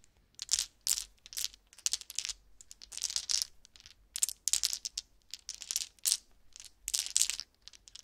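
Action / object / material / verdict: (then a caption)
shake / resin polyhedral dice shaken in hands / resin / none. About seven small solid resin or acrylic polyhedral dice, swirled purple and green with numbers, are shaken and rattled together in cupped bare hands over a soft purple blanket. Quick bursts of bright, clicking clatter come in uneven waves, sharp and dry with almost no low end and no ringing after each shake.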